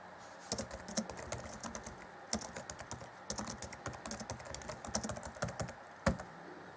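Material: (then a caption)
Plastic. Fingertips type on the black plastic chiclet keys of an Acer Chromebook C20 (2014) laptop keyboard. Quick, dry clicking taps with bright tops and a soft low thud come in bursts separated by short pauses, with one sharper, louder key strike near the end.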